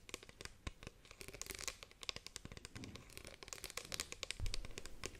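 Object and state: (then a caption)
Plastic spray bottle. Long painted nails tap rapidly on the sides of a hollow, partly filled green plastic spray bottle with a trigger head, held first sideways and then upright. The result is a dense stream of quick, dry plastic clicks and crinkly, bright ticks over a soft, low hollow thump, with no ring after each tap.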